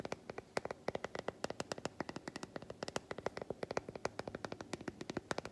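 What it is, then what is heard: Solid milk chocolate bar. Long white fingernails tap quickly on the squares of an unwrapped solid milk chocolate bar held up in the air. About 48 short, dry clicks ring out in a brisk, uneven stream, each one a bright tick centered near 550 Hz that dies away almost instantly.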